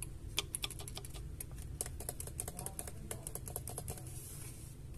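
Fingertips and short nails tap and rub the plastic fan shroud and fan side of a large white Gigabyte GeForce RTX 3080 Ti graphics card, which has a hollow shroud over a heatsink and a metal backplate and is held in one hand. The result is a fast, irregular run of light, dry, clicky taps with a bright high edge and almost no ring, over a soft low background rumble.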